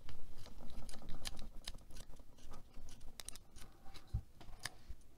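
A small coral plastic hair claw clip with gold metal teeth is held in the hand while long nails tap and scratch across its metal teeth and plastic body. The result is a quick, irregular run of short clicking taps and scratchy rasps, louder at the start and then softer.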